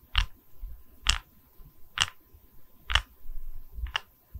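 A round, solid wooden tree-slice coaster showing its growth rings is held in both hands close to the mic, and its cut face is tapped and scratched with long red acrylic nails. Five sharp, bright nail taps land about a second apart, each with a short low thump and almost no ring. Soft scratching fills the gaps between them.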